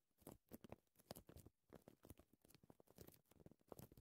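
A thin printed paper care label lying flat as a strip on dark fabric is tapped and scratched with short, dark green-painted nails from both hands. The result is a quiet, quick series of soft, dry, crinkly taps and scratches with a muted, mid-low tone and almost no ring.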